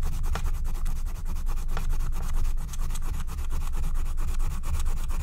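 A wooden stylus held in the fingers scratches the black wax coating of a flat, thin scratch-art card made of wax-coated paper. Rapid, steady back-and-forth scratching strokes blend into a continuous rasping texture over a heavy low rumble, with bright streaks on each stroke.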